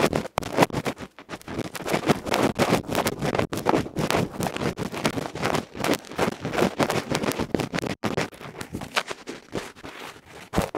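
A bamboo ear pick scratches rapidly and vigorously across the felt face of a small metal electret microphone capsule. The result is a dense, continuous run of loud, crackly rubbing strokes with a broad, rough texture, pausing only briefly a few times.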